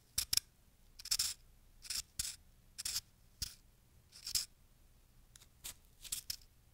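A fist-sized, solid lump of fresh packed snow is held in the palm and cut and scraped with a small wooden-handled carving tool with a metal tip. A series of short, crunchy scraping and cutting strokes sound bright and crisp, each dying away almost at once with nearly no low end, separated by quiet gaps.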